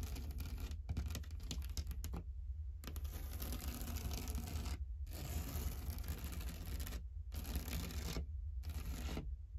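Long dark-painted nails and fingertips tap and scratch across a large, flat, painted drywall wall with a knockdown texture, a solid surface. Busy bursts of dry, bright scratching and quick taps come in stretches separated by brief pauses, over a steady low rumble.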